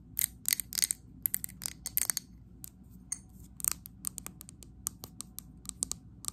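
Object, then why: Glass candle jar tapped with nails. Long acrylic nails tap quickly on the sides and base of a medium glass candle jar filled with green wax. The sound is a rapid, irregular series of bright, sharp clicks over a low, quiet background, each dying out almost at once with no ring.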